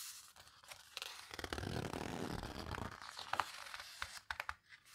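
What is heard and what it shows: Hands with long red nails turn the pages of a large open photo book, the Paper Houseboat book, lying flat on a table, squeezing and rubbing its heavy, coarse matte paper between the fingers. A dense, tearing, crinkly paper rustle swells in the middle, with sharp scratchy flicks and a few bright ticks toward the end.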